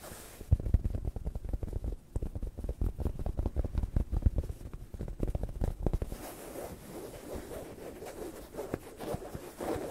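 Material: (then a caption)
Cotton fabric. Fingertips and nails scratch and rub a soft beige cotton-like pillowcase on a stuffed pillow held close against the mics. A dense run of quick, low, thumping scratches fills the first six seconds, then gives way to a softer, steadier rubbing hiss with a slightly brighter edge.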